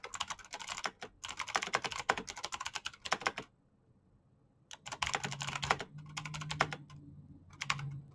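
Both hands type with their fingertips on a black plastic mechanical keyboard with clicky switches, producing rapid, bright clicking key taps. The typing runs in quick bursts, pauses briefly near the middle, then resumes over a faint low hum.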